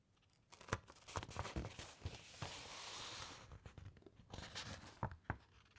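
Long nails on both hands tap and scratch across the printed paper page of an open, thick-paged encyclopaedia, then lift a page corner. Crisp, dry taps give way to a sustained papery scratching rustle in the middle before more sharp taps and faint crinkles return.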